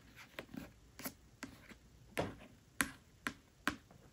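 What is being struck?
Paperback book cover, paper and card.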